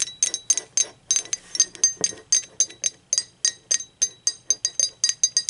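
Long acrylic nails tap the body and handle of a hollow, blue speckled glazed ceramic mug as it is held and turned. The result is a steady run of 27 bright, glassy clicks and clinks, each with a short high ring that dies away almost at once.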